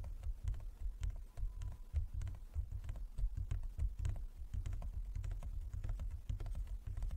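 Fingertips and nails of both hands tap rapidly and irregularly on a large, closed, hollow wooden folding chess board. The taps come as dull, low, hollow knocks with short, crisp nail clicks on top, each dying away almost at once.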